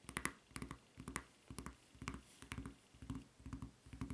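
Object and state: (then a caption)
Rubber flip-flop sandal. Long red nails scratch and tap the solid sole and red strap of a white rubber flip-flop resting on a table. Quiet, dry clicks and scratchy bursts come in uneven clusters, with a bright edge and a low thump under each, and each sound dies away almost at once.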